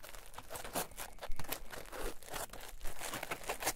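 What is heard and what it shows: A solid rectangular green polyethylene foam block on a table is pressed, rolled and squeezed with fingertips and palms. It gives a quiet, continuous stream of dry crinkling and crunching with brief bright squeaky bursts at irregular moments.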